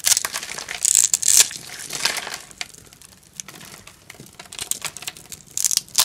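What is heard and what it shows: A knife blade cuts and crumbles cubes off a green, solid bar of dry soap that was already scored into cubes and is held in the palm. The result is a run of crisp, dry crunching and crumbling with many sharp, bright clicks and crackles. Two louder bursts come near the start and again near the end.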